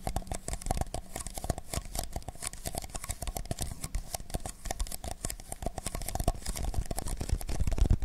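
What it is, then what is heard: Empty paper cups. Fingertips scratch and tap the outer walls of two identical hollow, empty paper cups, black outside and white inside, held close to a microphone. A dense, continuous stream of short crinkly scrapes and soft taps comes through, with a deep, thumpy low end and faint bright crackle, growing slightly louder toward the end.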